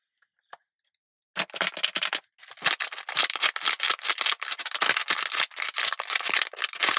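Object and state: Plastic water bottle.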